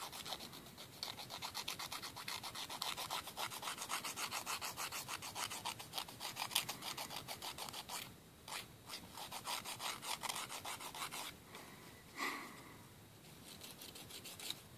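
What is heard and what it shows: A thin, flat, solid emery board nail file is stroked quickly back and forth against fingernails above a wooden table. The result is a steady run of dry, raspy filing strokes with bright, hissy high-frequency texture, briefly thinning out around the 8- and 12-second marks before resuming.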